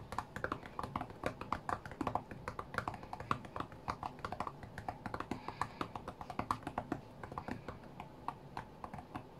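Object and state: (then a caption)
Glass touchscreen tapped with fingertips. Both hands tap fingertips rapidly and densely on the glass touchscreen of a white iPad lying flat on a mat. The result is a quick, irregular stream of short, dry clicks with a light knock around 1.1 kHz, bright ticks on top, and little low end.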